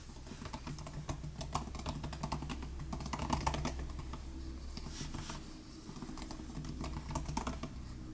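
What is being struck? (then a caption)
Laptop keyboard with plastic butterfly keys. Both hands type with their fingertips on the low-travel plastic butterfly keys of a silver aluminum 2018 MacBook Air laptop. The result is a fast, continuous stream of short, crisp key taps over a steady low hum.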